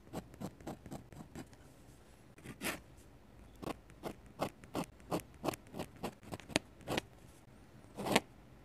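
A metal-nib dip pen held in the fingers scratches ink strokes across thick white paper in an open sketchbook lying flat. Short, bright, raspy scratches come in quick bursts, a steady run of strokes at first, then a pause and more spaced-out strokes, with one longer, louder stroke near the end.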